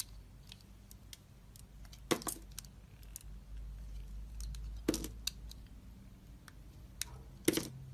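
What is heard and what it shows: A box-cutter blade scrapes the leftover red coating off a solid white soap bar held in the hand and carves into the soap. Three louder, crisp scraping strokes stand out among many short, dry, bright ticks and crackles, over a quiet low hum.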